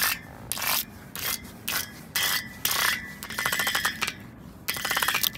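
Long pointed nails scratch and rub across the parallel bars of a steel drainage grating set over a hollow gutter. Bright, short scraping strokes alternate with quick, rattling ticks as the nails cross the bars one after another, with a faint high ring around 3.3 kHz and almost no low end.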